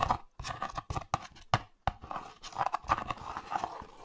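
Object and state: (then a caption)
Cardboard box, scratched and tapped. A small printed cardboard box for Olay Retinol24 cream is held in one hand close to the microphones while the fingertips and nails of the other hand scratch and tap its surface and edges. Sharp, dry taps alternate with scratchy, papery rustles in the mids, starting as separate clicks and blending into denser scratching toward the end.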